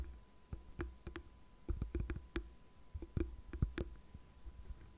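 Long nails tap and scratch the smooth plastic back of a light blue, cat-faced plastic paddle hairbrush held flat on a desk. Quiet, dull clicks come in a loose, uneven run, each one short with almost no ring and weighted toward low thuds. Faint scratching fills the gaps between them.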